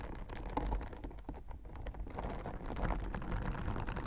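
A blue plastic acupressure mat with white plastic spikes is tapped and scratched by fingertips and nails running across the spikes. The result is a dense, continuous stream of small clicky taps and scratchy rustles over a low rumbling bed. The taps are too close together to count.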